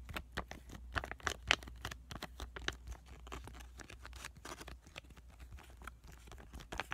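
A small, flat, printed pomegranate sheet-mask sachet of laminated plastic/foil, filled with a soaked mask, is held in both hands and squished and tapped with fingertips and short nails. Quiet, dense crinkling mixes with soft, crisp taps and wet squishes over a steady low hum.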